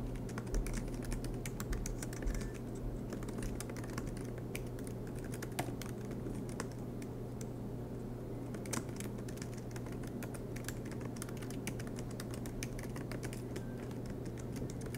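Fingertips of both hands tap continuously on the black plastic low-profile keys of a silver MacBook Pro with an aluminum chassis. The typing makes a quiet, irregular stream of soft, light clicks with occasional sharper taps, over a steady low hum.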